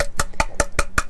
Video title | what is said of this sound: Watch Putting A Fire Out In Our Tiny House Off Grid Living | you can hear the tone like a 2x4 when you knock on it it sounds more Hollow